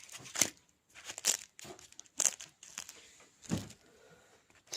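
A baked rolled börek, a cigarette börek made with egg yolk and mineral water, is broken or bitten into, giving a series of sharp, bright crinkling crunches separated by brief pauses. The pastry is crispy and baked through.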